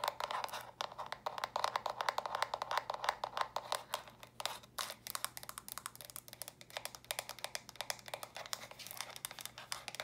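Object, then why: Plastic stacking brick storage box. Long nails tap and scratch quickly across the studded top and sides of small, hollow, stacked plastic brick storage boxes. The result is a dense, uneven stream of sharp, bright clicks with scratchy rasps, each dying away almost instantly, over a faint steady low hum.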